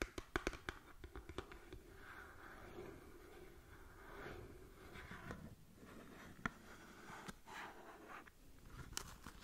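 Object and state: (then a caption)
Cardboard cosmetic box. Long nails scratch and tap on the surface of a small, hollow cardboard cosmetic box. A cluster of sharp, dry taps at the start gives way to a steady, soft scratching hiss with a midrange rasp, broken by a few more isolated clicks.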